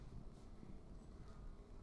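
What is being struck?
Nothing is struck.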